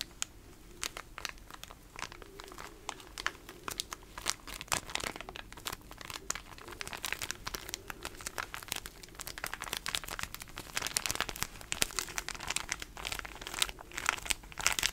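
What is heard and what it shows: Fingers crinkle and scratch the small patterned plastic wrapper of a pocket tissue pack. The result is a steady stream of dense, bright crackles and crinkles with very short, dry snaps, growing slightly busier and louder in the later seconds.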